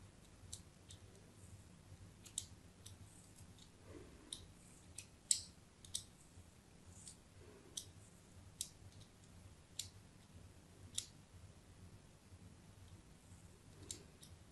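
A thin metal blade tip scratches diagonal lines into the surface of a hand-sized solid white bar of soap held in the hand. About fifteen short, dry, bright scraping clicks stand out from a quiet, low background hum. Each one dies away almost instantly.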